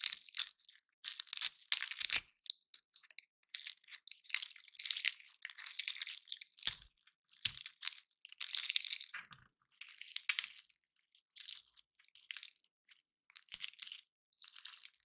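Fingertips and nails rub along the woody scales of a dry, solid, hand-sized natural pine cone painted silver, held in both hands, and snap the scales off, while other cones sit untouched on the table. Bursts of bright, crunchy scratching come in short, uneven clusters with crisp snaps and almost no low end, separated by brief silences.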